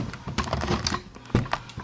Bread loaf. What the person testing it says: si vous entendez comme toc toc toc